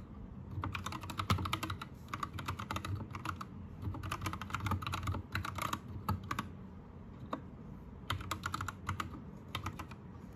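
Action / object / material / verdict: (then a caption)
tap / plastic mechanical keyboard / plastic / none. Both hands type with fingertips on a white 60% Anne Pro 2 mechanical keyboard with plastic keycaps, lit green. Quick flurries of bright, clacky keystrokes come in bursts separated by short pauses. A steady low hum sits underneath throughout.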